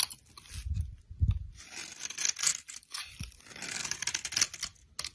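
A solid rectangular brown soap bar, held in a hand with long lilac nails, is shaved and scraped with a utility knife blade, leaving shavings piling up. The result is a run of crisp, bright scraping and tearing strokes with soft crunching, plus a couple of dull low thumps early on.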